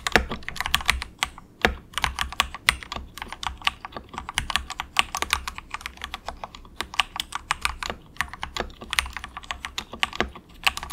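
Fingertips of both hands type softly and steadily on a cheap, compact 68-key plastic mechanical keyboard with a hollow case, resting on a desk mat. A rapid stream of short, bright clicky keystrokes has a hollow, plasticky tone and dies away almost instantly, over a faint low hum.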